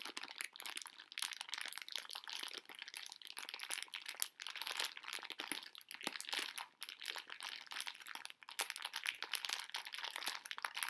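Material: Plastic.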